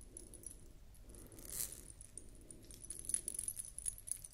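A beaded wire collar necklace with metal dangles is held up and turned in both hands. Long nails scratch across the beads while the metal discs clink and jingle brightly, with soft low rumbling underneath throughout.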